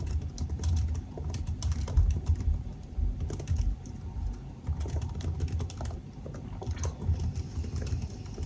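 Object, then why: Laptop keyboard, plastic keys in aluminum body. Both hands type with their fingertips on the black plastic keycaps of a silver aluminum laptop resting on a desk. The result is a steady stream of short, soft key taps that are dull and low, with a faint bright click on top.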